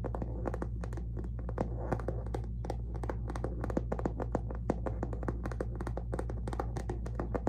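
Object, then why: Canvas handbag with smooth leather base band. Long fingernails tap and scratch the tan smooth leather base band of a hollow, medium handbag with a plaid canvas body. A rapid, continuous run of dry, short clicks and scratchy scrapes sits over a steady low hum. Each tap dies away almost at once.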